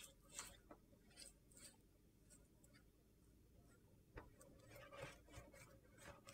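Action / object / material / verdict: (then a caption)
scrape / large solid soap slab / soap / none. A hand scratches and rubs the rainbow-coloured surface of a large, flat rectangular slab of solid soap with its fingertips and nails. The result is quiet, irregular scratchy rasping strokes with bright, gritty high crackle over a soft low rustle.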